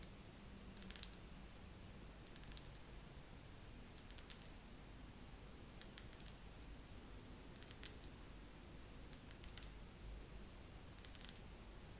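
A wax pillar candle is tapped slowly with long nails, giving soft, bright little clicks in small clusters spaced a second or two apart. The taps are quiet and short, sitting over a steady low background hum.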